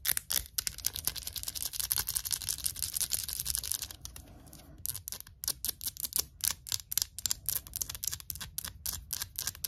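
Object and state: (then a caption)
Glass jar of pickled onions. Long acrylic nails tap rapidly on the glass side of a hand-held jar full of pickled onions in liquid, with a paper label. The taps are quick, bright clicks with almost no ring. After a brief quieter pause near the middle, the tapping resumes.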